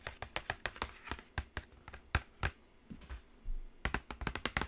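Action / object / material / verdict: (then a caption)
tap / cardboard eyeshadow palette box / cardboard / none. Long acrylic nails tap the top edge and lid of a black cardboard Carnival eyeshadow palette box, seen close up. About twenty short, dry clicks sound, each with a low thump and a bright tick that die away almost at once. A steady rhythm slows into a brief lull before a quicker final cluster of taps.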